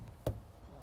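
A single knock on a shop wall that has shifted and is propped up because it risked collapsing onto customers. The knock is a short, dull thud, mostly low and lightly resonant, with a quick decay. It sounds hollow, a sign of a construction defect.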